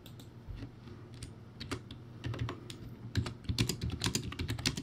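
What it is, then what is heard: Plastic typewriter-style keyboard being typed on. Fast two-handed fingertip typing on a crappy, backlit plastic typewriter-style keyboard with round white plastic keycaps. It produces a quick, uneven stream of short clacky key hits with a low thud under each and bright tapping on top, growing louder and denser toward the end.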